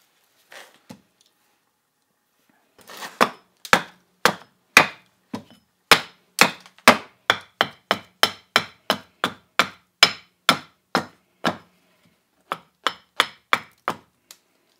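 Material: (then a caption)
Wood. A fresh, solid, bent green birch branch about 40 cm long stands on a wooden chopping stump and is split with a small steel carving axe with a yellow handle, the stump also taking the blows. After a few faint early taps, a steady run of about two dozen sharp, bright chopping thwacks follows, each decaying quickly with little low end.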